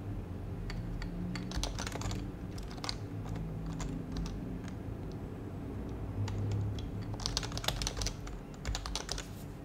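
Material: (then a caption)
Plastic. Both hands type code on a white compact HHKB plastic mechanical keyboard with plastic keycaps and a plastic case, fingertips tapping the keys steadily while the mouse stays untouched. Quick, bright plastic clicks come in irregular bursts, clustering most densely near the end. A steady low hum runs underneath throughout.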